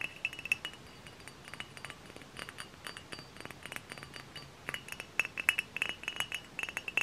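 A hollow, dark brown glass hard cider bottle, held in the hand, is tapped quickly with fingernails and fingertips. It gives a steady run of bright, short glassy clinks with a ringing tone near 2.6 kHz, each dying away almost at once. The taps sit over a faint, quiet background.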